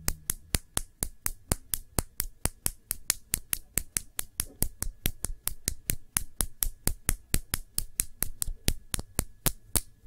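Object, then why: Small glass nail polish bottle. Fingertips and long nails tap a small, full glass nail polish bottle with a black cap, held upright. About 44 quick, sharp, bright clicks arrive at an uneven pace, each dying away almost instantly. A faint steady tone near 1.7 kHz and a low rumble sit underneath.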